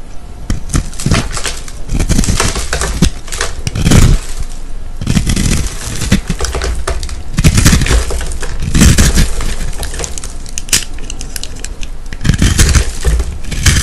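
A metal utility-knife blade scrapes and cuts into a round, pink, solid, powdery bath bomb about the size of a palm, held in the hand, opening up its crumbly multicolored inside. Dense, gritty scraping and crunching comes in repeated bursts over a heavy low rumble, with sharp crumbling crackles that die away almost at once.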